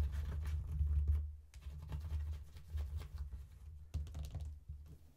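Long painted nails tap quickly on the inner panels of an opened faux leather wallet phone case with card slots and a phone compartment, lying flat. The quick, irregular taps land as soft, muffled patters over a deep, low hum.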